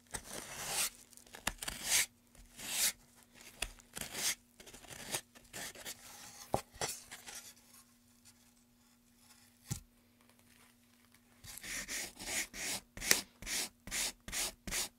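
A small blade or sanding tool scrapes and rubs along the carved groove of a solid, light wooden pen tray held in gloved hands. Short, bright, papery scraping strokes come in irregular bursts, with a faint steady low hum beneath the first part and a quieter stretch midway. The strokes then return in a denser run of rasping passes.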